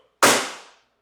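A 10-pound ankle weight is dropped onto a floor, landing in a single sharp, loud impact with a bright, cracking attack. The sound fades quickly over about half a second.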